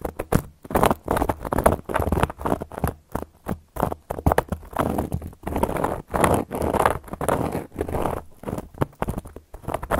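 Long gold metal claw nail caps scratch and trace across a solid, round, flat cork board. Dry, rasping strokes come in quick bursts separated by brief pauses, mostly in the midrange with a steady low undertone.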